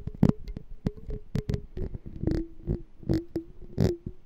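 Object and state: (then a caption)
Glass jar partly filled with water. Fingernails tap the walls of a small, hollow clear glass jar with a black label and a gold metal lid, held sideways and partly filled with water. A quick series of light, dry clicks is heard, each with a brief low, hollow knock and a faint tonal note that shifts slightly as the water moves.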